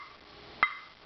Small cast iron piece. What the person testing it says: that even has a ring to it but it's not going to have any ring to it if there is a crack somewhere